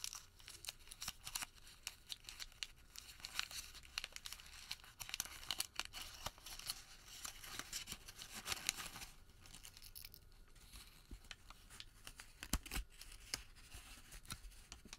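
A white thermal paper receipt is crumpled into a ball, then unfolded and stretched flat by both hands. It makes a quiet, dense stream of bright crackling and crinkling with sharp tearing-like snaps and very little low end.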